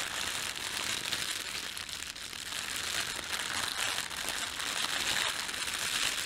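Fingertips pinch and crumple the film of a thin, red-and-white printed plastic bakery bread bag. A continuous, bright crinkling and crackling runs throughout at a fairly steady level, with almost no low end.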